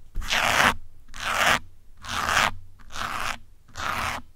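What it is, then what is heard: Foam microphone windscreen scratched with pins. Fingers holding metal pins scratch and pull across the top and side of a grey foam windscreen on a black microphone. Five separate strokes each make a bright, rasping, crunchy scrape, with short quiet gaps between them.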